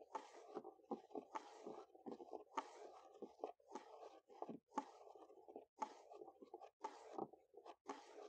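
Natural fingernails tap and scurry rapidly across a large, solid wooden picnic table top outdoors. The sound is a quick, dry stream of taps and scratchy bursts, mostly midrange with bright scraping edges and almost no low end. Each tap dies away almost instantly, with brief pauses between flurries.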